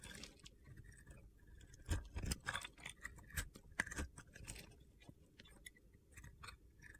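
A metal box-cutter blade scrapes and carves crunchy slivers off a solid hand-held soap bar coated in blue glitter with a teal interior. Quiet, gritty scraping runs throughout, broken by sharp crunchy cuts with bright clicky edges, loudest between about 2 and 4.5 seconds.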